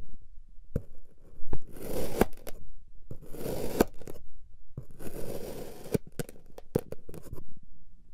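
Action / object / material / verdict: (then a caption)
scrape / packed kinetic sand cut with a knife / kinetic sand / none. A white plastic or ceramic knife repeatedly slices through a flat, solid, multicolored block of packed kinetic sand shaped like a lightning bolt, about hand-sized, resting on a white surface. Three long, gritty scraping and crunching cuts are heard, punctuated by sharp clicks as the blade meets the surface.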